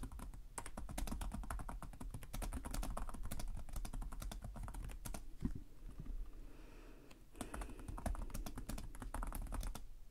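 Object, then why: Plastic laptop keyboard. Fingertips with short nails type continuously on the plastic chiclet keyboard of a black laptop resting on a desk. Rapid, dry key taps come in dense bursts with a brief quieter lull in the middle. Each click is short with almost no ring.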